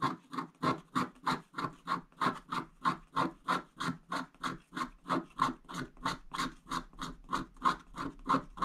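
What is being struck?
Wax-coated scratch-art paper scraped with a wooden stick.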